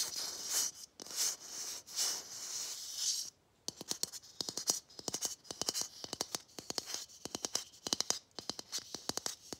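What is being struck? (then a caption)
Plastic Christmas bauble. Long fingernails scratch a palm-sized, matte gold, hollow plastic Christmas bauble with a visible molding seam, making several bright, hissing scratch swells. After a brief silence, the nails tap it in quick, uneven bursts of sharp, high, clicky taps that die away almost instantly.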